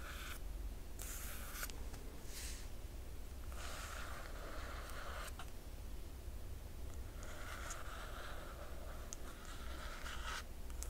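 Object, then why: Glossy paper dust jacket on a hardcover book. Long nails of both hands scratch across the glossy paper dust jacket of a large hardcover book lying flat. Bursts of dry, bright scratching come and go over a steady low hum.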